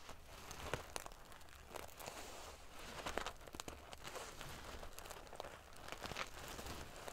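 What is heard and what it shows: Fingernails scratch and ruffle the metal pieces on a silver metal paillette, sequin-covered pillow. The result is a steady, crinkly rustle of small metallic scrapes broken by scattered sharp, bright clicks that stop almost instantly.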